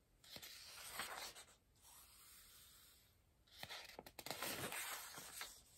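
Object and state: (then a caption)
Paper puzzle book. A large softcover paper word-search book rests on a pillow as its open pages are rubbed flat with the fingertips and palm, turned, and touched with a pencil. Soft, bright papery swishes and rustles come in two busy bursts, with a quieter stretch of gentle rubbing between them.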